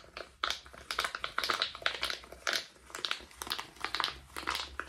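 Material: Silicone.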